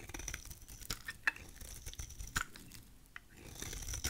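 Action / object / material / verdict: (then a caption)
scrape / bar of soap / soap / none. A utility knife blade shaves curls from the edge of a solid, rectangular, dry purple soap bar held in the hand. The result is quiet, crisp scraping and cutting with sharp, bright crunchy clicks scattered throughout.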